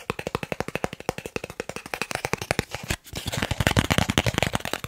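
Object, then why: Thin plastic card. A thin, solid green plastic gift card held in the hands is tapped and scratched quickly with fingernails. Rapid, sharp clicking taps come in a steady stream, pause briefly, then turn into a denser, brighter burst of tapping and scratching.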